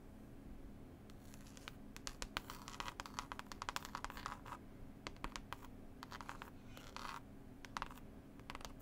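A textured, cloth-covered CD case is scratched and tapped with long pointed nails close up. Quick, dry scratchy clicks and taps come in irregular bursts over a steady low hum, each dying away almost at once.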